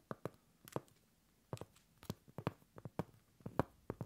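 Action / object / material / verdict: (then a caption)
tap / round cork coaster / cork / none. Long pointed acrylic nails on both hands tap and scratch the face of a flat, solid round cork coaster held upright. An irregular run of quiet, dull, low taps comes in small clusters, each dying away almost instantly with no ring, with faint scratchy texture between them.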